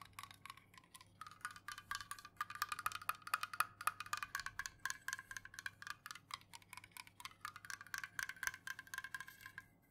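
Long nails rapidly tap the metal top rim and lid of an unopened, full aluminum Jumex Guava Nectar can held tilted in the hands. Fast, uneven bursts of short, bright metallic clicks carry a faint ringing tone around 1.3 kHz, and each tick dies away almost instantly.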